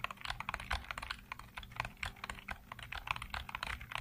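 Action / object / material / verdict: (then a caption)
tap / plastic computer keyboard keys / plastic / none. Fingertips rapidly tap the hollow keycaps of a black plastic computer keyboard, producing 22 short, dry, bright plastic clicks centered around 1 kHz with a faint low thud beneath. Each click dies away almost instantly in a quick, uneven typing rhythm.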